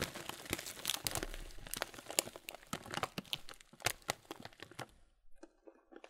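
A clear plastic bag of muesli, full of oats and chocolate pieces, is slowly squeezed and rubbed with fingertips and palms. Bright, dense plastic crinkling mixes with the crunch of the cereal shifting inside. Near the end the handling thins out to a few faint, sparse crackles.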